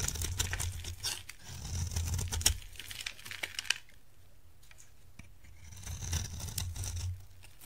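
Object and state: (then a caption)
Dry soap bar being carved. A utility knife blade carves a dry, solid orange soap bar, giving a rapid, irregular run of crisp scraping and crumbly crunches with bright edges as chips fall onto a pile. The carving fades to a near-silent pause midway, then resumes with softer scraping, all over a steady low hum.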